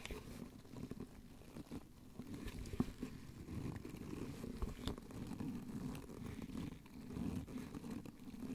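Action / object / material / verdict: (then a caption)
scrape / small cardboard box scratched with gloved fingers / cardboard / none. Gloved fingertips scratch and tap a small, hollow white cardboard soap box held in gloved hands. The sound is a soft, muffled, low-heavy rustling and scraping with dull, quickly fading taps, and a few sharper clicks stand out along the way.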